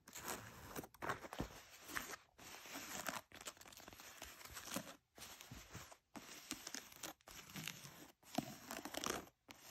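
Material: Denim.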